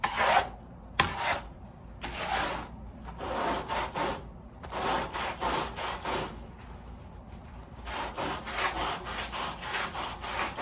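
A wet, soapy woven pile area rug lying on a plastic sheet is scrubbed with a red-handled push brush with white bristles, leaving stroke lines in the foam. Rough, hissing scrubbing strokes come in repeated bursts separated by short pauses, with a wet, foamy rasp.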